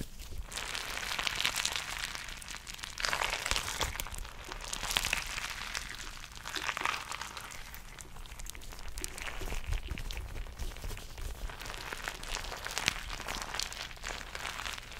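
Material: Rubber.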